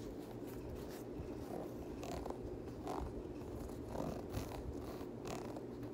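Fingertips and nails scratch along the ribbed cream rubber/boost midsole and Primeknit textile upper of a hollow grey/white Yeezy 350 sneaker. The result is a soft, steady rasping with a low rumble underneath. Brief brighter scratchy strokes stand out at intervals.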